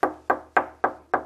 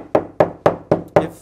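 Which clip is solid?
The first.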